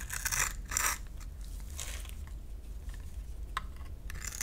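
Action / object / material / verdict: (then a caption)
scrape / solid bar soap scraped with a knife blade / soap / none. A solid rectangular purple bar of soap held in the hand has its surface scraped and shaved with a utility knife blade, and dry crumbs fall away. Bright, crisp scraping bursts come in several strokes over a low steady rumble, the strongest early on and another near the end.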